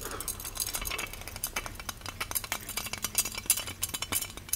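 Fingers tap and scratch the handle and body of a small, ornate, hollow gold-plated metal genie lamp on a pedestal base. The result is a quick, irregular stream of bright metallic clinks and light scratchy rattles, each very short with almost no ring.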